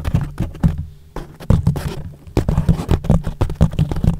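Fingertips of both hands rub and scratch a thick, soft yellow foam sheet wrapped loosely over a microphone, leaving hollow space around it. The result is a rapid string of muffled, deep thumps and scuffing rubs, almost all low rumble with no bright edge, each dying away almost instantly. Brief quieter pauses break up the bursts.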